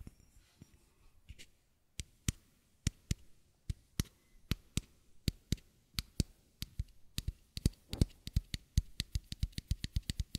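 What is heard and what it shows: A small, matte white bottle with a square cap, apparently plastic and empty, is held sideways and tapped and scratched with fingertips and nails. It starts with faint scratching, then moves into crisp, short hollow taps that come faster and closer together toward the end. Each tap is a quick bright click over a soft low thump, heard quietly and close-up.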